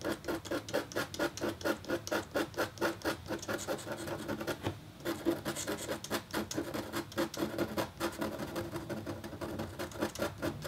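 A metal-tipped stylus scratches across a thin, solid, flat black-coated copper foil scratch art board in quick, repeated strokes. Each stroke makes a short, dry, bright rasp with a slight tonal edge, with a brief lull near the middle before the steady scratching resumes.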